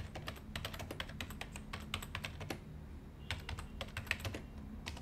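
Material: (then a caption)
Plastic. Fingertips of both hands type steadily on the hollow plastic keys of a white plastic desktop keyboard. Quick, bright clicks come in bursts with a brief pause midway, over a constant low hum.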